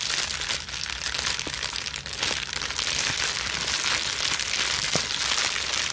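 A plastic bubble wrap sheet is bunched between hands with long nails and scrunched and twisted quickly. It makes a dense, continuous bright crinkling at a steady level, with occasional sharper clicks standing out from the rustle.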